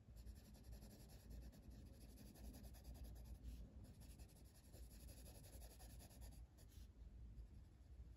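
A blue colored pencil tip rubs across a flat paper coloring book page near the flower outlines in continuous shading strokes. The result is a quiet, steady, scratchy rubbing with a soft low rumble underneath and faint bright hiss on top.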